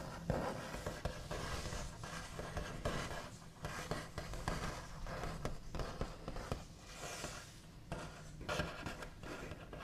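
Fingernail backs tap and trace over a large, flat, solid wooden tabletop with a smooth white finish. Soft scratchy scraping runs throughout, broken by light, dull taps. The sound stays quiet and close, with a low, woody body.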